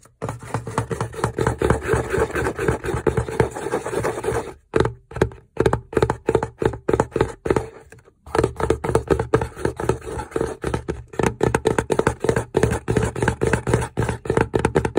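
Fingertips and nails tap and scratch the lid of a hollow, glossy printed BELCHIC cardboard gift box tied with a satin ribbon, sitting inside a fridge. A fast, dense stream of short, dry taps and scrapes with a low, hollow thump breaks into sparser separate taps around the 5-to-8-second mark before the quick tapping resumes.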